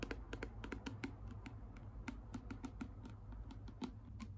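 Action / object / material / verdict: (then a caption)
tap / plastic bottle tapped with fingernails / plastic / none. Long pink acrylic nails tap and scratch a clear plastic micellar water bottle with a pink cap, partly full of liquid and held sideways. A quick, uneven run of short, bright clicking taps sounds over a steady low hum, with each tap dying away almost instantly.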